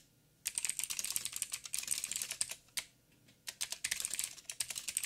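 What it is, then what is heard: Mechanical keyboard with plastic keycaps. Fingertips of both hands type rapid taps on a backlit mechanical keyboard with black plastic keycaps on a silver frame and a hollow housing. Bright, sharp clicks begin after a brief silence and run in quick bursts with a short pause midway. Each keystroke is crisp and dies away almost at once.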